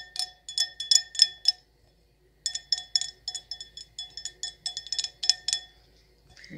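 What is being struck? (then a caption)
Glass wine glass. A wine glass from a his-and-hers pair is tapped with fingernails, giving bright, short clinking tones with a steady ringing pitch. About twenty quick taps come in two bursts separated by a pause, and a faint low rustle follows at the end.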